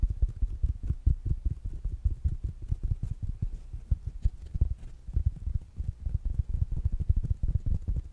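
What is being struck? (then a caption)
Small speaker with fabric mesh cover. Fingertips and nails tap rapidly and irregularly on a small, rounded black smart speaker with a fabric mesh cover. The taps are dull, muffled, low thumps with almost no bright content, each dying away almost instantly. They run in quick, uneven bursts throughout.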